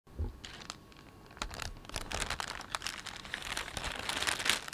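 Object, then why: Thin plastic carrier bag. Fingertips rub and crumple a thin, empty, hollow green-and-white plastic shopping bag printed with a panda, lying on a cloth surface. Dense, bright crinkling and crackling builds from a soft start into many sharp rustles that grow louder toward the end.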